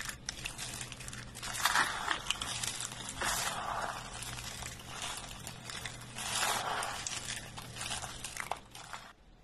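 Fingertips and hands grab, squeeze and crumble a pile of thin, brittle, dry green soap flakes, crushing and rubbing them. A dense, bright crinkling crunch runs throughout, swelling into louder crackling bursts near 2, 3.5 and 6.5 seconds before fading at the end.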